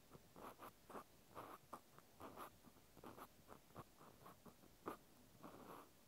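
A small white plastic clothes peg held in the hand is scratched with the tip of a cotton swab. Soft, brushy scratching strokes repeat in short bursts, each with a faint rasp centered around 1 kHz and little low end.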